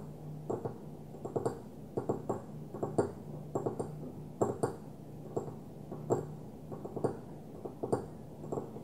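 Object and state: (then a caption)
Glass perfume bottle tapped with nails. Long fingernails on one hand lightly tap and scratch the top of a small opaque white glass perfume bottle lying on its side. Short, dry clicks come in quick clusters and pause, each dying away almost at once, with soft scratching in between. A faint steady low hum sits underneath throughout.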